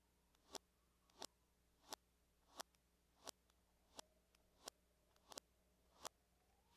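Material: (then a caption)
Aluminum. Long manicured nails tap in small circular patterns on the lid of a closed silver laptop, likely aluminum with a hollow shell, lying flat on a table. About ten sharp, bright clicks come at a steady, unhurried pace, each preceded by a faint brushing swell and ending almost instantly. A low, steady hum sits quietly underneath.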